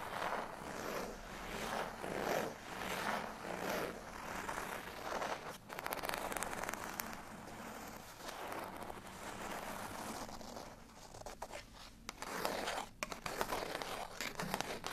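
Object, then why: Folded cardstock tag. A folded cardstock bottle tag lies flat while fingernails scratch across it. The result is a dry, broadband scraping that swells and fades in uneven strokes, with a bright papery hiss and occasional sharp ticks.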